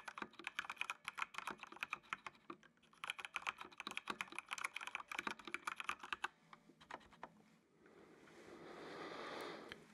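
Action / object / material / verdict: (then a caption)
tap / plastic mechanical computer keyboard / plastic / none. Fingertips type on the keys of a full-size black plastic mechanical computer keyboard with RGB backlight, producing rapid, bright, clacky keystrokes with a brief pause near the three-second mark. The typing thins to a few scattered taps after about six seconds, then gives way to a soft, rising rushing noise that swells and fades at the end.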